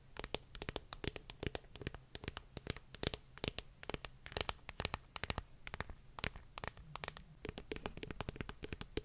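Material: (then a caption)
Paper. Long nails tap and scratch the glossy card cover of a paperback book, a solid stack of paper. A rapid run of sharp, dry clicks with bright edges dies out almost instantly, interspersed with soft scratching, over a steady low hum.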